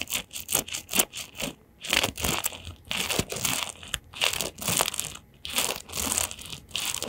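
A round-backed hairbrush with a printed plastic back and metal pin bristles is held in both hands while fingertips and nails scratch and flick across the pins. It makes quick, irregular bursts of bright, crinkly, crunchy scratching, with very little low end. Each stroke dies away almost instantly.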